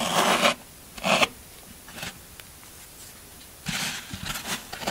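A metal scraper tool scrapes the textured top surface of a solid green floral foam brick pinned down by a hand. Short bursts of dry, crunchy, bright rasping come in uneven strokes separated by quiet pauses, ending in a longer run of scraping.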